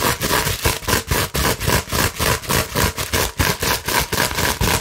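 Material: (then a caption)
Plastic. Long nails scratch quickly across a clear plastic bubble wrap sheet held up in the air. The result is a rapid, steady run of short, bright, noisy scraping strokes, each swelling and fading with a low rumble underneath.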